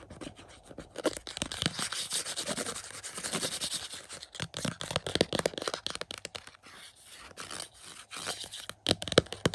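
Fingertips scratch and rub the glossy cardboard slipcover of a hollow Back to the Future 4K UHD plastic case resting on a carpet. The result is a dense, irregular run of dry, bright scratching and rubbing strokes with short, quick-fading bursts that swell and ease throughout.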